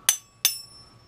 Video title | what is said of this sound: Make Money Scrapping a Flusher From a Urinal | you can always tell brass cuz brass Rings like that